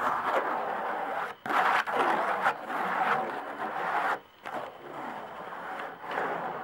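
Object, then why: Hide-head tambourine with wooden frame. Long nail tips slowly tap and scratch the hide head of a tambourine with a wooden frame. The result is a steady, dry, papery scratching centered in the mids with a bright edge and short quick taps, broken by brief pauses between strokes.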